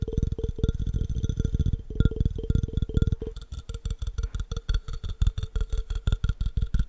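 Fingertips tap rapidly on the body and base of an empty, hollow clear glass jar held sideways. The taps are dull, low thuds with very short decay and a faint glassy ring, falling in quick, uneven bursts that thin into more spaced-out taps toward the end.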